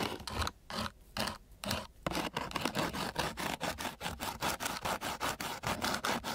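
The edge of a flat wooden popsicle stick scrapes along the surface of a flat sheet of coarse sandpaper, making gritty, bright scratching strokes. A few slower strokes separated by short pauses give way to a steady, rapid back-and-forth rhythm of rough scrapes.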